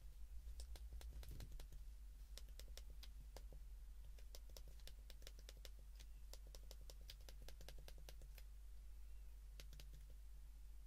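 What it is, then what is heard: Plastic flip phone keypad buttons pressed. Fingertips press the keypad buttons of a white plastic flip phone held in both hands, making quick, sharp, bright clicks that come in rapid typing-like runs. A steady low hum sits beneath the clicks throughout.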